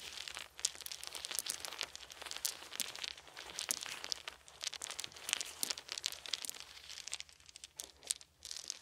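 Small, solid, round wooden beads are held in both hands, rubbed between the fingers and dropped onto a pile of beads on a soft blanket. The result is a dense, steady stream of bright, dry clicks and crinkly rattles with no ringing, broken by brief lulls.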